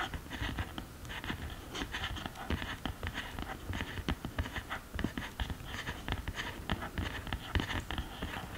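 Long green nails tap and scratch across the pressed powder pans and upper case of an open cardboard eyeshadow palette. Quick, dry taps with short bright clicks mix with soft scratchy strokes over a low, muffled thump. The sound stays quiet and steady throughout.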